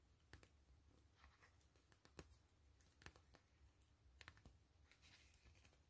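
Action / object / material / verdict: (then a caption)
scrape / PVC mesh zipper pouch / PVC plastic / none. Long fingernails scratch and tap a soft, hollow gray PVC grid-mesh zipper pouch and its fabric trim. Quiet, sharp clicking taps with short, bright transients are scattered among soft scratchy rustles, over a low steady rumble.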